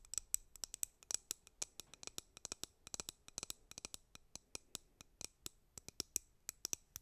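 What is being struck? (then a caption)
Plastic hairbrush. Long painted nails tap and scratch the printed back of a white plastic hairbrush. The result is a quick, irregular stream of sharp, dry clicks that are bright and high-pitched, with almost no low end and no ring after each tap. The sound is quiet overall.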